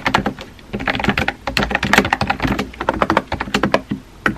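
A compact pink plastic keyboard with round white keycaps, resting on a white desk, is typed on quickly with fingertips and painted nails. Rapid, closely spaced plastic key taps and clacks run steadily, with brief pauses between bursts and a bright, crisp click to each stroke.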